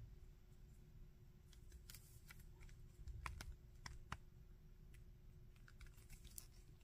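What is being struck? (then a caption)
Hard plastic action figure. Fingertips and nails tap and scratch the legs and arms of a red, glossy, hard plastic zombie Iron Man action figure about 15 cm tall and pose its joints. Quiet, sharp clicks and bright ticks come at irregular intervals, with soft scratchy rustles between them. A steady low rumble and faint hum run underneath throughout.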